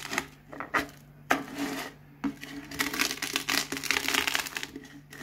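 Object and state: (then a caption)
Crushed potato chips. A cardboard Pringles can is rolled by hand over a pile of crisp potato chip pieces, crushing them. Sharp, bright crackles and crunches come in irregular bursts, some isolated snaps and some dense runs, with quiet gaps between.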